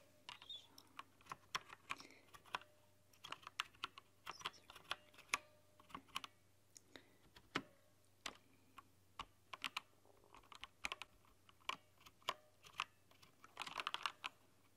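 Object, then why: Plastic mechanical keyboard. Both hands type with long nails on the plastic keycaps of a rainbow-backlit mechanical keyboard, making a quiet, irregular stream of sharp, bright clicks and taps. Each click dies away almost instantly, and a cluster of fast keystrokes comes near the end over a faint steady low hum.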